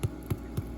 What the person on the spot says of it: tap the bread and if it sounds hollow then you know they're done